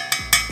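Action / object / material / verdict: knock / iron utensil knocked on enamel-coated pot / iron, enamel / none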